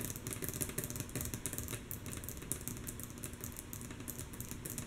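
Long natural fingernails on both hands tap rhythmically and softly on a flat, light, solid wooden tabletop. The result is a steady stream of quick, dry clicks with bright nail ticks over a low, woody knock, each dying away almost instantly.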